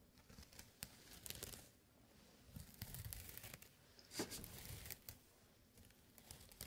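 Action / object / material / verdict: scrape / small jute burlap pouch / jute / none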